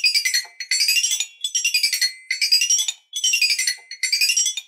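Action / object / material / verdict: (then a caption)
strike / toy xylophone with painted metal bars on a wooden frame / metal / none. An eight-bar toy xylophone with painted, colored metal bars on a wooden frame is tapped with two wooden ball-head mallets. It plays quick runs of bright, high, tinkling notes in repeated short bursts, each note ringing only briefly with no low end.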